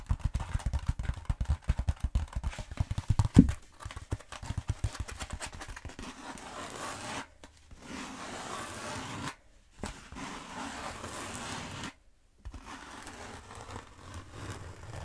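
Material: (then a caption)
Bead foam. Long nails rub and scratch the textured surface of a long black bead foam roller. The first six seconds are dense, quick scratching strokes with low, hollow thumps. After that comes a steadier, softer rasping rub, broken by three brief silent pauses.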